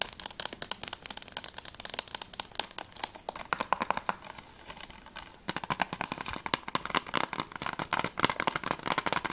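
Long fingernails tap rapidly on a closed, hollow plastic PS3 game case, first along the spine edge and then across the back cover. The result is a dense stream of short, dry, bright clicks that ring around 1 kHz with almost no decay. The tapping thins out and softens briefly in the middle, then returns louder and sharper on the back cover.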